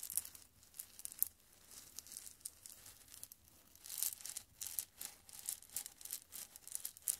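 Fingers with long red nails squeeze and rub a small mesh bag full of white pebble-like decorative stones right beside the microphone. The stones grind and crunch against each other in quiet, uneven bursts of bright, gritty crackle, with almost no low end.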